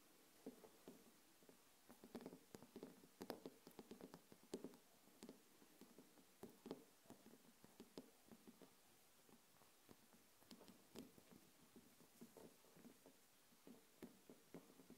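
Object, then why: Small glass candle jar filled with wax. A small wax-filled glass jar candle with a glass lid, standing on a table, is tapped with long nails and fingertips. Irregular bursts of quiet, quick taps come, each a dull low-mid knock with a bright click on top. Every tap dies away almost at once.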